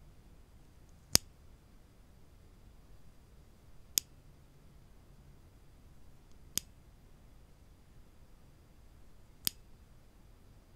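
A small solid-wood clothespin with a metal spring is held in one hand and pinched open by the fingertips, then snapped shut, while other clothespins lie still on a wooden table. Four sharp, bright clicks ring out at uneven intervals over a quiet background, each dying away almost instantly.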